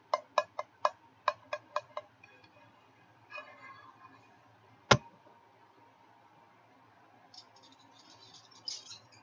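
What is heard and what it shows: Fingertips and nails tap and scratch the inner surface of an empty medium frying pan with a white ceramic nonstick interior. Eight quick, bright, dry taps are followed by soft scratching, then one sharp, louder tap and more light high scratching. Each tap dies away almost at once.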